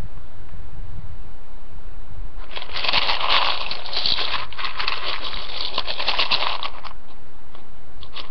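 A hand rummages through a poppy-print ceramic bowl full of dry, uncooked rotini pasta, grabbing and dropping the pieces. After about two seconds of faint low background hum, a dense, crunchy rustling and clattering sets in and continues for several seconds, bright and crisp, centred around 1 kHz. It then thins to a few scattered clicks as the pasta settles.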